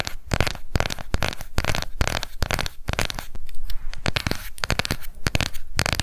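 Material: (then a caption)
Plastic. A small round pink plastic cushion foundation compact with a clear lid, held in both hands, is tapped quickly with long acrylic nails. Rapid, dense clicks and scratchy taps run throughout, with short bursts of irregular rhythm and a low, thumpy body beneath the bright clicking.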